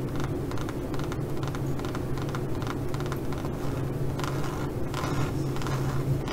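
Four long nails scratch back and forth across the grain of a leopard-print pebbled faux leather pouch. The result is a dense, continuous run of soft, rough scraping strokes over a steady low hum, holding an even level throughout.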